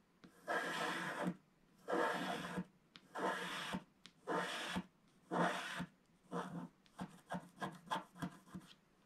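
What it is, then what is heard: Scratch-art card being scratched. A wooden stick scratches the black wax coating of a flat, thin scratch-art picture card lying on a table, working over the waves at the bottom of the picture. Five long, dry rasping strokes come first, then a run of shorter, quicker scratches, each a bright, gritty scrape.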